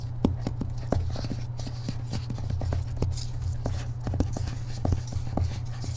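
Fingertips and short nails of one hand tap quickly on the back cover of a thick hardcover book held upright, its purple glossy paper dust jacket under the fingers. Rapid, dry, short taps with light nail clicks sit over a steady low hum. Each tap dies away almost at once.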